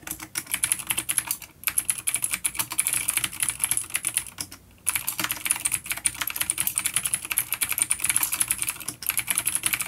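Both hands type on a full-size dark plastic vintage mechanical keyboard with clicky blue switches and grey keycaps, resting on a wooden desk. The keystrokes form a rapid, continuous stream of sharp, bright clicks with almost no low end. The typing pauses briefly around 1.6 s and 4.5 s before resuming.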